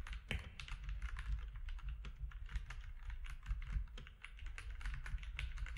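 Fingertips of both hands type steadily on a compact mechanical keyboard with grey, white and orange plastic keycaps. The result is a dense stream of short, dry clicks and clacks that die away instantly, over a constant low rumble.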